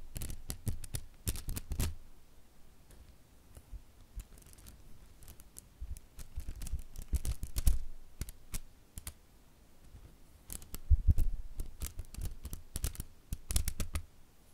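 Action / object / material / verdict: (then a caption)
flick / silicone basting brush / silicone / none. Fingertips repeatedly pluck and flick the soft grey silicone bristles of a wooden-handled silicone pastry brush, producing quick, dry snapping clicks. The clicks come in clustered bursts separated by quieter stretches, each a brief bright tick over a soft low thump with almost no ring.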